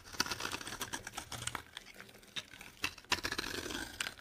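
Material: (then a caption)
Soap. A solid, dry orange Palmolive soap bar is held in the hand and scraped and scored with a metal box-cutter blade, cutting it into shavings. Quick, crisp scratches and clicky scrapes come in uneven bursts with bright, brittle edges and almost no low end. Each stroke stops short with no ring.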